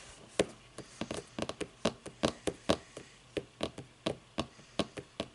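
Fingers tap on a book for ASMR, giving a steady, irregular series of short, dry, muffled knocks with almost no ring. Each tap has a soft mid-range body with some brighter click, over a quiet background.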